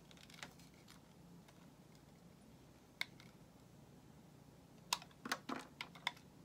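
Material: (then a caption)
Soap. A solid white bar of soap held in the hand is carved with a metal utility knife blade. Sparse, crisp, bright clicks and short scraping cuts sound over a quiet, steady low hiss, bunching into a quicker run of cuts near the end. Each cut stops dead with no ring.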